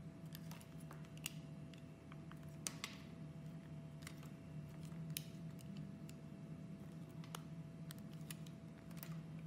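A utility knife blade scrapes and cuts a solid pink and brown soap molded like a segmented chocolate bar into squares, the soap held by fingers with red nails. Quiet, crisp scraping and sharp, bright clicks and snaps sound over a steady low hum and a faint constant tone.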